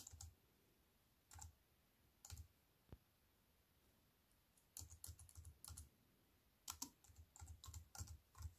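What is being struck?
Plastic computer keyboard with metal frame.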